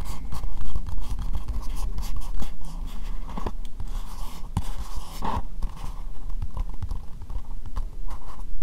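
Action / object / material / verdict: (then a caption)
tap / upside-down plastic bowl tapped with fingernails / plastic / none. Long nails tap rapidly and continuously on an empty, hollow, translucent pink plastic bowl held upside down. The taps blend into a dense, scratchy patter over a low, hollow thudding body, with brief brighter clicks standing out now and then.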